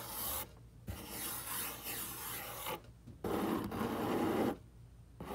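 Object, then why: Corrugated cardboard box. Fingertips and short nails rub and scratch the surface of a large, hollow, brown corrugated cardboard box. Four separate raspy strokes are heard, broken by short silences. The longer strokes sound dry and gritty, with a fuller, hollow mid tone in the third.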